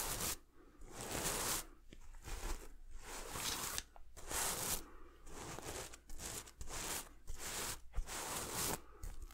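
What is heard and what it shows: A hand swipes across a red sequin throw pillow with a silver heart, held beside the mic, making repeated bright, scratchy, crackling rustles. The swipes come in bursts separated by brief pauses, over a steady low hum.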